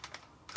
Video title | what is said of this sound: Galaxy G6 Airsoft Colt 1911 Pistol Review | really go for it, you can get a rattle out of it